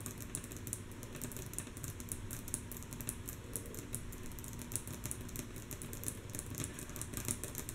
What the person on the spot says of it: Rhythmic Tapping on Wood Table With Long, Natural Nails - Mostly Soft Tapping